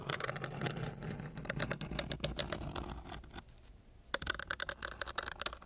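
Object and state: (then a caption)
Sandpaper sheet. A thin wooden stick drags and scratches across a coarse brown sandpaper sheet, which lies flat and solid, close to the microphone. The sound is a run of gritty, rasping scrapes with sharp, bright onsets over a low rumble. The scraping eases into a quieter stretch near the middle, then returns in quick, dense strokes.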